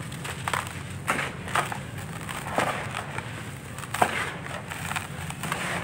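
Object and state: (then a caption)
Dry sandy clay lumps crumbling. Bare hands squeeze and crumble dry, grainy sandy clay chunks in a red plastic basin, breaking them into loose powder. Soft gritty crunches and crackles come in irregular bursts over a steady low rustle, with brief brighter snaps as lumps give way.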